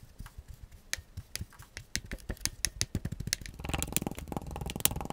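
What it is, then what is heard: Kinetic sand being pressed and cut in a glass mug. A gloved hand uses a black plastic scoop/tamper tool to repeatedly press and cut into compacted purple kinetic sand packed almost to the top of a clear glass mug with a handle. Short, dry, bright crunches come from the sand, not the glass, spaced apart at first and then growing denser into a steady crackling in the last second and a half.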